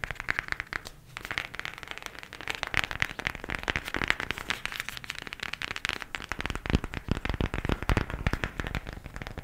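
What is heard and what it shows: A cardboard eyeshadow palette is tapped quickly with the nails. There is a dense, steady stream of short, dry clicks with a bright edge and some hollow low thump beneath, with a brief thinning near the first second. The taps stay fast and even, never building to harsh or loud strikes.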